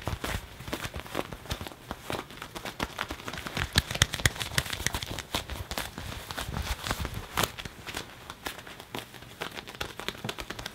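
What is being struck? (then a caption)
Leather jacket sleeve. A hand grips, squeezes and rubs the sleeve of a black leather (possibly faux leather) jacket near the cuff while it is being worn, crumpling the soft leather. It makes dense, steady crinkling and creaking with many short, bright crackles that die away instantly, over a soft low rustle.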